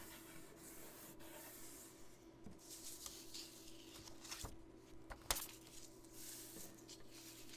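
A thin blue origami paper sheet, folded into a triangle and lying flat on a wooden table, is pressed and rubbed along its fold by fingertips and fingernails to crease it. Quiet, bright, papery swishes and scratchy rubs run over a steady low hum. A few sharper ticks stand out near the middle, the loudest just past five seconds.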